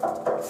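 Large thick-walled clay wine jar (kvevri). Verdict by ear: Sound.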